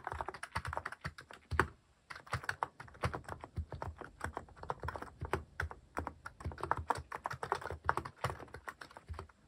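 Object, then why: Mechanical keyboard with plastic keycaps. Fingertips type rapidly on a white mechanical keyboard fitted with plastic cat-themed keycaps. A dense stream of short, dry clacks and thocks with almost no ring continues steadily, broken only by a brief pause near the two-second mark.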